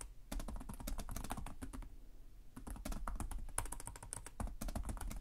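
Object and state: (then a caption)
Plastic laptop keyboard. Both hands type with their fingertips on the plastic chiclet keys of a black laptop. A fast, steady run of short, soft clicks with a low, thumpy body and bright tips eases off briefly around the two-second mark, then picks back up in dense bursts.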